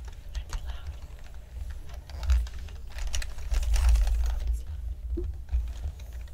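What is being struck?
Plastic computer keyboard.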